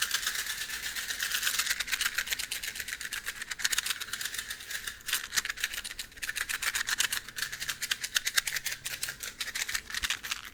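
A box of matches is handled and shaken, giving a fast, steady rattle of dense, crisp clicks from the matches moving loose inside. The sound is bright and high-pitched with almost no low end, running continuously for about ten seconds with brief dips in intensity.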